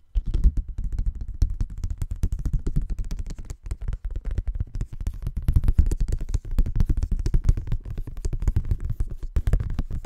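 A thin folded paper Christmas card is held in both hands while fingertips rub and bend the paper. Dense, continuous rustling and soft crackles run for the full clip, low and muffled, with quick bursts that die away almost instantly.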